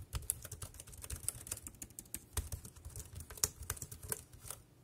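Fingertips type rapidly on a dark grey, compact, plastic wireless keyboard with round keys that rests on a plastic sheet. The result is a fast, uneven stream of short, sharp clicks with bright tops over dull low thuds, each dying away almost at once.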